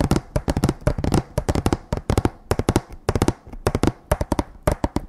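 Fingertips of both hands tap on a row of hanging, painted wooden plank signs strung on a string. The result is quick, irregular clusters of short, dry knocks with a low, hollow body.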